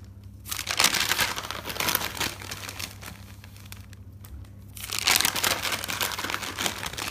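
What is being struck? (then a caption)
Paper notebook. Fingers flip the white pages of a thick paper notebook with a green cover lying on a table, making bright, crinkly paper rustling. Two stretches of continuous page-turning are separated by a brief quieter pause in the middle, with a faint low hum underneath.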